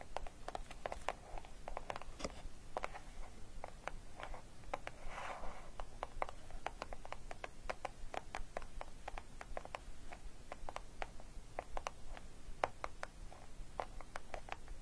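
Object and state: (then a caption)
Cardboard gift box. Long nails of both hands tap and scratch the edges of a small, closed, hollow green printed cardboard gift box with a pink orchid print. The result is a quiet, steady stream of quick, sharp clicks with brief scratchy rubs between them.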